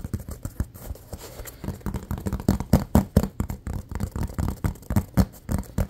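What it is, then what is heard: Rubber toy football. A small hollow, textured silver and green rubber toy football is held and quickly tapped and scratched with fingertips and nails. The result is a fast, uneven run of dull, low, hollow thuds that die away almost instantly, mixed with soft scratchy rustling.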